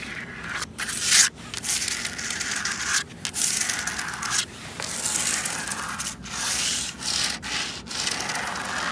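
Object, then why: Plastic traffic cone. Long red and black acrylic nails scratch and rub a large, hollow, red ribbed plastic traffic cone outdoors. The result is a bright, dry, raspy scraping in sustained strokes, broken by short pauses.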